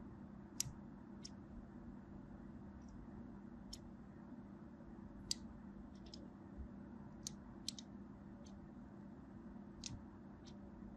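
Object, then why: Bar of soap cut with a small blade. A small black blade scores a crosshatch pattern into a solid purple and white striped bar soap held in the hand. Short, crisp, bright scratching clicks come at irregular intervals over a quiet, steady low hum.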